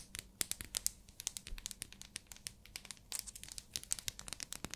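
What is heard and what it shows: Long nails tap and scratch a small, solid, pink, translucent glycerin soap bar wrapped in plastic. The result is a rapid stream of quiet, sharp ticks and bright plastic crinkling that die away almost instantly.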